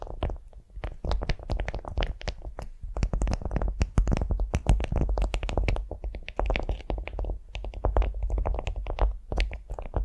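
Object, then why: Beeswax-coated cotton food wrap. Long fingernails on both hands quickly tap and scratch a flat beeswax-coated cotton food wrap lying on a vinyl mat. A dense, continuous stream of short, dry taps and crinkly scratches with soft low thumps underneath carries through the whole clip, with brief bright edges on the sharper strikes.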